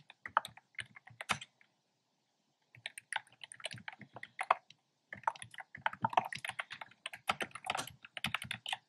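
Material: Plastic.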